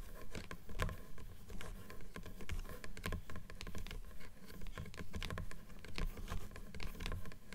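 Long nails rapidly tap along the top edge of the page block of a closed blue paper book, a solid stack of pages. The result is a quick, dense patter of short, dry taps that die away almost at once, with most of the energy low and muffled and little brightness.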